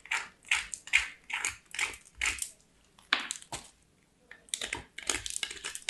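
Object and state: Soap bar grated on a metal grater.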